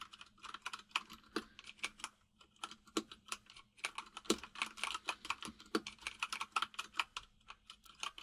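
Both hands type rapidly with their fingertips on a white full-size mechanical keyboard with plastic keycaps resting on a desk. Dozens of quick, bright, clacky keystrokes come in uneven bursts, each dying away almost instantly. A faint steady low hum sits underneath.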